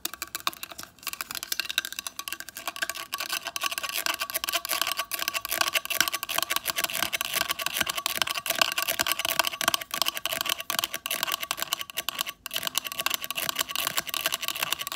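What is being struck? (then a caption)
Small plastic handheld device. A small black square hand-held device with a circular ring on its face, likely plastic, is tapped and scratched rapidly with long acrylic nails. The result is a dense, continuous stream of sharp, dry clicks and scrapes that stays bright and high with almost no low end, each tap dying away almost instantly.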